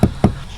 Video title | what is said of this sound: TRUE Value in a TINY package! Maruti Suzuki S-presso 2020 Comprehensive Review. | It's very feeble fiber. It sounds like plastic, but it is fiber.